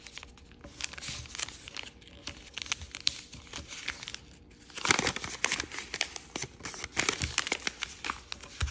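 Fingertips fold and crease a small, thin grey paisley origami sheet with a red back, making dense, bright crinkling and crackling. Soft rustles give way to louder bursts of crumpling and tearing-like crackle near the middle and again toward the end.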